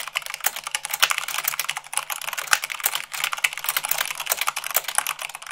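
Long pink nails and fingertips type fast, about 98 words per minute, on a full-size mechanical keyboard with white plastic keycaps on a black frame. A rapid, continuous stream of crisp, bright clicks and clacks is heard, with almost no low end and no ringing after each keystroke.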